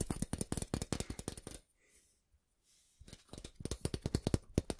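A long, flat, thin stainless steel ruler held in both hands above the mic is tapped and scratched along its surface with fingertips and nails. Quick, dull, low-weighted taps come in a rapid run, then a near-silent pause with only faint soft scratching, before the tapping resumes. Each tap dies away almost at once.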